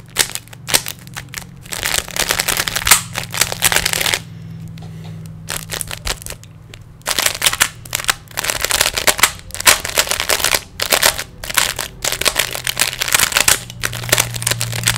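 Fingertips twist the layers of a small, solid plastic 3x3 Rubik's cube in quick bursts of bright, dry plastic clicking and rattling. The turning pauses briefly in the middle, leaving a quieter stretch, and a faint low steady hum sits underneath throughout.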